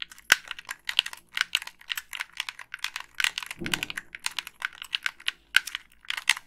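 Long pink acrylic nails tap and click the buttons, sticks and hollow plastic body of a hand-sized black Xbox 360 gamepad. A steady run of sharp, dry, bright clicks and taps dies away almost instantly, with a brief lower scraping rustle partway through.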